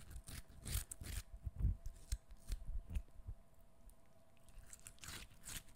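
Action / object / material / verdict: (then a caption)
scrape / peeled cucumber piece / cucumber / none. Fingernails scratch and squish the flesh of a short peeled cucumber piece, solid and wet, held in both hands near the microphone. Soft, low, wet squelches and crunches come in quick bursts, some with bright scratchy edges, and fade after a quiet stretch before a final few scratches. A faint steady hum runs underneath.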